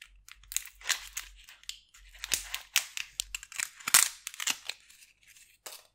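Metal tweezers and a small knife scrape and peel the dry, papery outer skin off a whole, solid yellow-brown onion held by fingers with long purple nails. Quick, bright crinkling and crackling bursts sound in rapid succession, with short sharp scrapes and tearing rustles. Almost nothing sits in the low end.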